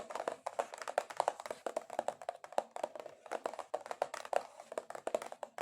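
Long acrylic nails tap aggressively on a cardboard box, producing a rapid, uneven stream of dry, hollow clicks. Each tap is sharp and dies away almost instantly, with a papery mid-range knock and a bright crackle above it.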